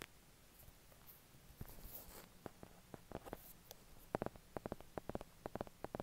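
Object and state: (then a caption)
Hardcover book. Fingertips tap the cover and edges of a solid, closed medium hardcover book with paper pages and a cardboard cover, printed with a peacock-feather pattern and bearing a price sticker. The book rests on and is held above a white duvet, with wired earphones lying nearby as the microphone. Quiet, short, dull mid-pitched taps start sparse and grow into a quicker, louder run of crisp knocks near the end.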